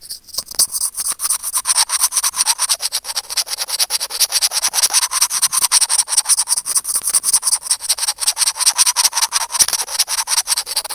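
Curved steel tweezers rub and scratch a small hollow white plastic earphone mic remote in quick, uneven strokes. Each stroke gives a short, dry, bright scratchy rasp with no low end, repeating steadily for the whole clip.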